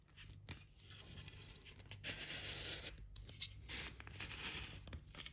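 Light, solid pine canvas stretcher bars, hand-width strips with mitred slotted corners, are held in both hands and pressed and slid together at the joint. Dry, bright scraping and rubbing of wood on wood under the fingers and palms is broken by soft knocks, with a low hum underneath.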